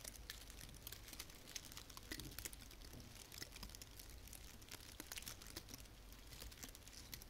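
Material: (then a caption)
Plastic. A small frosted artificial fir branch with plastic needles is rubbed and scratched with long painted fingernails. Soft, dense crinkling and scratchy crackles with quick bright clicks run throughout over a low background rumble, all at a quiet level.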